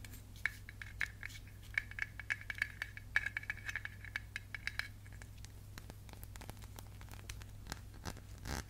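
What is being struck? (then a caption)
Glass candle jar with metal lid. Fingertips and nails tap and scratch the metal lid and rim of a small glass candle jar held upright. Quick, light taps ring with a bright tone for the first five seconds over a steady low hum, then give way to softer, scattered scratching clicks. A brief breathy swell closes the clip.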